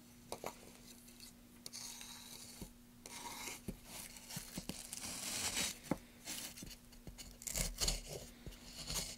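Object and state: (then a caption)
Softwood block being carved. A gloved hand carves and scrapes a solid block of pale softwood with a wooden-handled gouge. Bright, dry scraping and rasping strokes come in uneven bursts, broken by short, sharp clicks where the blade bites. A faint steady low hum runs underneath throughout.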